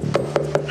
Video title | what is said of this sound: Овощи, Фрукты, Ягоды ... ??? | постучите по арбузу если звук будет звонким вот таким значит Арбуз сладкий